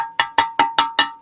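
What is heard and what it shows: A 3D-printed part made from Polymaker Fiberon PPS-CF10 carbon-fiber-filled PPS filament is tapped five times in quick succession. Each tap gives a bright, bell-like metallic ring pitched near 920 Hz that decays quickly, so the printed plastic sounds like metal.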